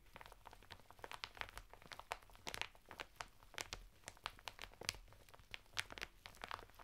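Fingertips and nails scratch the textured surface of a flat bath mitt made of coarse woven natural fibre, sealed in a thin printed plastic packet standing upright on a table. The result is a quiet stream of dry, crinkly scratches and sharp, bright plastic crackles that snap off instantly. A low hum sits steadily underneath.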